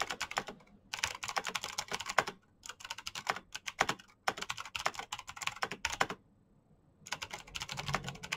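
Fast fingertip typing on the keycaps of a black plastic mechanical keyboard. Bursts of rapid, bright, clicky keystrokes, each dying away almost instantly, are broken by brief pauses and a longer silent gap near the end before the typing resumes.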